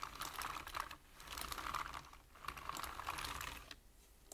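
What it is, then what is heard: Plastic computer keyboard. Fast tapping with the fingertips of both hands on a black plastic computer keyboard with hollow keys gives a dense stream of short, dry clicks with a bright, hollow tone. The clicks come in three quick bursts separated by brief lulls.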